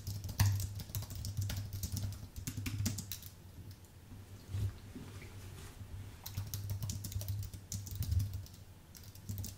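Fingertips type fast on a white Apple full-size keyboard with an aluminium base and plastic keys. Rapid, bright key clicks and soft taps come in uneven bursts over a steady low hum near 100 Hz.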